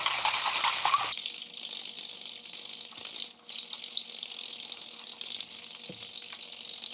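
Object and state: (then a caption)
Cocktail shaker with ice, not yet done shaking. A cocktail shaker holding rum and ice is shaken, producing a dense, bright rattle of ice against the shaker for the full seven seconds. A faint high-pitched note from the ice can still be heard through the rattle, so the drink is not yet done and needs more shaking until that note is gone.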